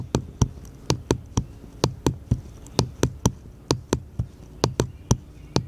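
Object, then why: Small light wooden paddle. A small, solid, unfinished light wooden paddle-shaped piece is held upright in one hand and tapped with the fingertips of the other. There are 18 short, dry, hollow-sounding knocks at an uneven pace, each dying away almost at once, with a low woody thump and a bright click on top.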